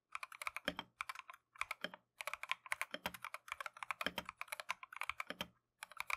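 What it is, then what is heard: Plastic mechanical keyboard. Gloved fingertips type rapidly on a full-size plastic Keychron V1 mechanical keyboard with Tangerine switches and green and cream matcha PBT XDA keycaps resting on a desk mat. Quick bursts of crisp, bright switch clicks and clacks are separated by brief pauses, with each keystroke short and dry.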